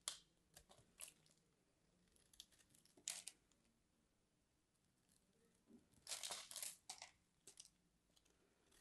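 A small craft knife scores and scrapes a crosshatch pattern into the surface of a solid white, palm-sized bar of soap held in both hands, shaving off flakes. Short, bright, crisp scraping strokes come in irregular bursts, with a longer, denser rasping run near the end, against a quiet background.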